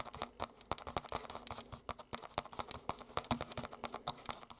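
Fingertips with short nails and metal rings tap and scratch a small, solid closed book of shadows wrapped in a red painted canvas cover. About 19 quick, dry, crisp clicks come in an irregular patter, each dying away almost instantly, with bright high-pitched ticks over a soft scratching rustle.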